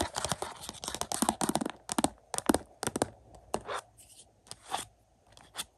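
Fingertips with short nails tap and scratch across the back of a Mission: Impossible Dead Reckoning 4K movie case in a thin, hollow, glossy printed cardboard slipcover lying on carpet. Quick, dry, papery taps and crisp scratching strokes come in irregular bursts, each dying away almost at once with no ring.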